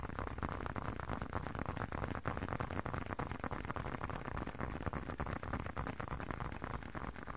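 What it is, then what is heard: Leather wallet. Fingertips and nails tap and scratch the surface of a small blue leather wallet held close to the microphone. It makes a dense, fast, irregular stream of soft, muffled taps mixed with scratching. The sound is heavy in the low end, with almost no high-frequency sparkle and no ring after each tap.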